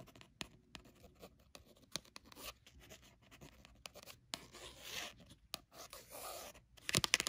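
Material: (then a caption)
Paper. Long nails scratch and tap the textured cover of a cat-print paper memo pad. Quiet, crisp, hissy scratching is broken by sharp, short taps, with the final second growing louder and denser.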